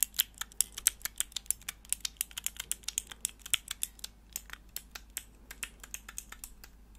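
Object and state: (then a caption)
Mechanical keyboard switch tester. Long nails press and click the keys of a hollow plastic mechanical keyboard switch tester: a small clear plastic block with four mechanical switches and grey plastic keycaps, held in the hands. About 40 sharp, bright clicks come in a rapid, uneven stream, each dying away almost instantly with very little low end beneath them.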